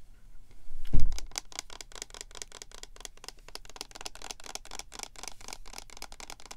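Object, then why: Plastic lotion pump bottle. Long painted nails and fingertips tap and scratch along the labeled sides of a medium, hollow, cylindrical plastic lotion pump bottle with a white and holographic PINK label, while the hands hold and turn it. A low thump is heard near the start, followed by a steady run of quick, sharp, bright clicking taps with light scratching between them.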